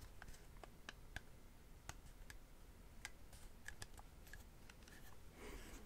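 Fingertips and nails tap and click on a small, hollow, hand-held yellow and black tape measure case made of hard plastic with a rubber overmold, held in one hand. Quiet, sharp clicks land in an irregular, typing-like ticking over a low background rumble, and each click dies away almost instantly. Near the end the clicks give way to a brief, softer brushing swell.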